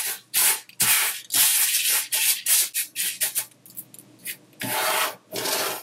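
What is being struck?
Layer of coarse sugar crystals.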